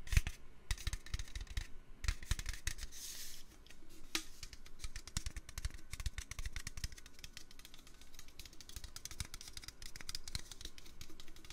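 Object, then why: Metal can. A metal can is tapped with the fingers for ASMR. Rapid, dense, irregular taps produce short, dry clicks with a low, dull thump and bright ticking edges, each dying away almost instantly. The tapping continues steadily at a soft level throughout.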